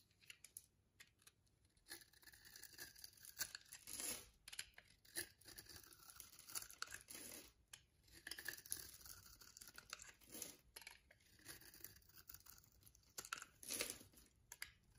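A metal blade scrapes and carves a solid pink rectangular bar of soap held in the palm, shaving off powdery curls. The clip is a steady run of dry, crunchy, bright scraping strokes with brief tearing bursts and almost no low end.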